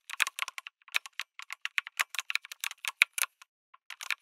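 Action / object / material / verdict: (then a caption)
tap / mechanical keyboard with plastic keycaps / plastic / none. Fingertips type on a backlit mechanical keyboard with a white case and red and grey plastic keycaps. A quick, uneven run of dry, bright clicks and clacks follows, each key strike sharp and short with almost no ring and no low thump. There is a brief pause near the end before a final burst of keystrokes.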